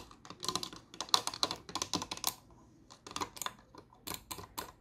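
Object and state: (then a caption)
Plastic computer mouse. Fingertips and long nails tap and click the buttons and shell of a small, hollow, green and white plastic computer mouse resting on a wooden desk. Quick bursts of sharp, bright clicks and light taps come in clusters with short pauses between them. Each sound dies almost instantly and carries very little low end.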